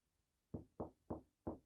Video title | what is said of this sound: Major Items To Consider When Building A Basement Apartment or ADU | this sounds like a solid rock